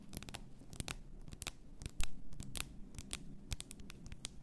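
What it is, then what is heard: Glass bath salt bottle. Long painted nails tap and scratch the sides and neck of a tall clear glass bottle full of pink bath salt, with a gold cap and a pink label. Sharp, bright clicks with almost no ring are scattered over a steady, soft scratching texture. One tap near the middle stands out louder than the rest.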